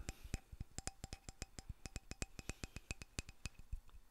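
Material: Lignum vitae.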